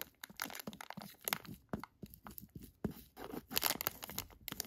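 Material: Plastic.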